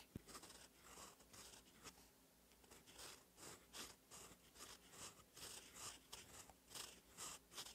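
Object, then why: Steel pen nib on a paper notebook page. A gold steel fountain pen nib, held in the fingers, scratches across a lined cream paper notebook page lying flat and solid while writing cursive. The result is a soft, bright, crisp scratching that comes in quick, uneven strokes. About eleven distinct scratches stand out over a faint steady hiss.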